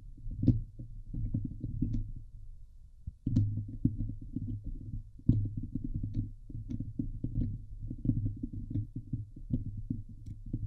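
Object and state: Metal mesh microphone grille.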